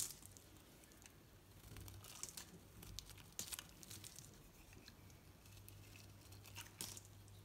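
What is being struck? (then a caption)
Bar of soap scraped by a knife blade. A knife blade scrapes thin curls off a solid green bar of soap with an orange painted rim, held in the hand. The result is soft, crinkly scraping with bright, crisp peaks over a low steady hum.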